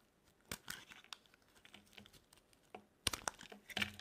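A solid, dry orange soap bar, held in the palm, is shaved into thin curls with a metal utility blade. The result is a series of quiet, dry, crisp scraping and crackling cuts with bright, high-frequency texture. The cuts grow louder and denser toward the end, each dying away almost instantly.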